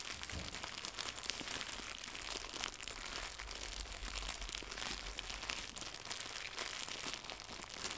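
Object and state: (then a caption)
Plastic packaging film being crinkled. Fingertips crumple and crinkle a small white translucent plastic packaging film pack with a bow inside. A dense, continuous crackle of bright, crisp crinkles fills the clip at a steady low level, with no pauses.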